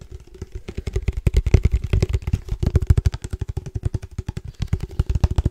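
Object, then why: Padel ball tube with metal lid. Fingertips tap quickly on a hollow black cylindrical padel ball can with a red logo and a metal lid, held in the hand. About forty short, deep, hollow thuds come in a rapid run. Each knock stops almost at once, with only a faint ringing tone underneath.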